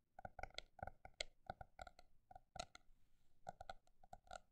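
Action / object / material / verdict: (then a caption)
tap / paper notebook / paper / none. A paper notebook is tapped with an irregular rhythm of fast and slow taps. Each tap is short and dry with a hollow, slightly tonal knock and a bright click, with a brief lull near the middle before the tapping picks up again.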